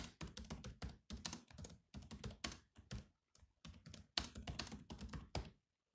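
Fingertips type on the black plastic keys of a grey laptop keyboard, producing quick runs of clicky taps that each pair a dull low thunk with a bright click and stop almost instantly. The keystrokes come in uneven bursts with short pauses between them, then end in silence.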